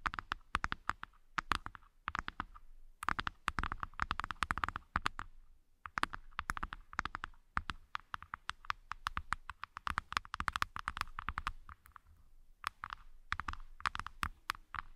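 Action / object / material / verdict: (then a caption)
tap / light wooden box trays / wood / none. Long nails tap and scratch the inner wooden floors of the two halves of a light-wood hexagonal accessory box, set side by side as open, empty trays. Quick, dry clicks come in rapid bursts with short pauses between them, centered around 1.2 kHz with bright edges, and each click dies away almost instantly.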